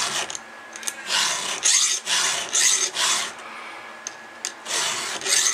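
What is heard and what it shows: A round steel file is pushed across a cutter tooth of a solid steel chainsaw chain held with fingers. Repeated bright, hissing rasp strokes rise and fall in uneven bursts, with short quiet gaps between them.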